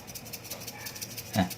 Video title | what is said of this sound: Bon Cabe, Modal Dikit Untung Banyak | ciri-ciri untuk cabe yang sudah kering tuh ada bunyinya kayak gini